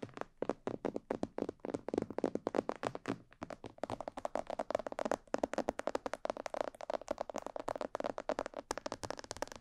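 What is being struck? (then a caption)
Plastic mannequin head microphone. Long nails tap rapidly on the upper sides and ears of a hollow, glossy black plastic mannequin head microphone. Around sixty dry, hollow clicks sound in a quick, uneven stream, each with a mid-pitched knock and a crisp bright edge that dies away almost instantly. The tapping grows denser and fuller in the second half.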